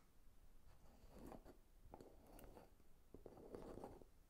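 Fingernails tap and scratch the sides of a small brown amber glass jar with a label and lid, holding dark contents and held in one hand. Quiet, gritty scratching comes in three rough bursts, broken by sharp little clicks of the nails on the glass and a faint low rumble underneath.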